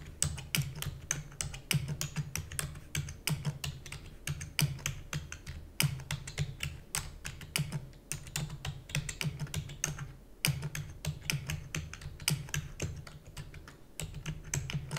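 A full-size black plastic computer keyboard with hollow key switches, resting on a fluffy mat, is typed on rapidly with long natural nails and fingertips. A steady stream of sharp, bright clicks rides over a hollow low thump from each keystroke, with brief pauses between bursts. Each tap dies away almost instantly.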